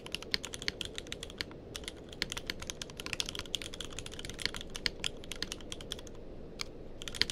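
Fingertips of both hands type continuously on a tenkeyless mechanical keyboard with plastic keycaps. A rapid, steady stream of short, bright clicks and clacks rides over a soft low rumble, each keystroke dying away almost instantly.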